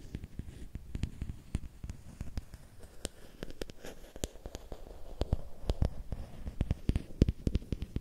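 A long, thin, solid bamboo or wooden stick, held at an angle, is tapped and scratched by fingertips and nails. It gives many quick, dry, close-up clicks and soft scratching over a low, muffled rumble, with sharp bright ticks that die away almost at once.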